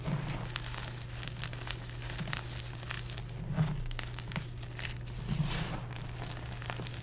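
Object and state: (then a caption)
Dry crumbling gym chalk blocks. Bare fingertips and palms squeeze, crush and crumble solid, brittle, porous chunks of dry, pale orange dyed gym chalk (magnesium carbonate) blocks into powder in a dark round bowl with loose powder. Many sharp, bright crackles and dry crumbling crunches come in close bursts over a steady low hum, with a few louder crushes standing out.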